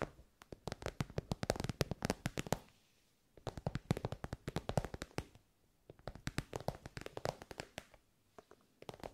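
Long nails tap quickly on a glossy pink fabric pencil case, an elongated soft case covered in shiny pink synthetic fabric. Three bursts of rapid, dry, muted taps are separated by short pauses, and each tap stops almost instantly with no ring.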